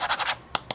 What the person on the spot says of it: it still sounds like plastic